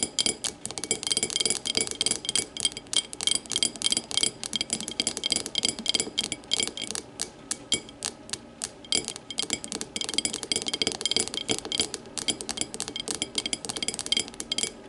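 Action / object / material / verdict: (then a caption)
tap / glass tumbler / glass / none. An empty clear glass tumbler lying on its side is tapped and scratched with long matte nails. Quick, dense, bright clicks and scrapes follow one another with very short ring, carrying a faint glassy tone around 3.2 kHz and almost no low end.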